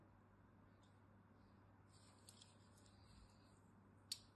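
A thin metal blade scores diagonal lines into a solid cream-colored bar of soap held in the hand, giving a quiet, high, bright scratching and carving sound over a low steady hum. Three short scrapes stand out, two faint ones close together mid-clip and a sharp, crisp click near the end.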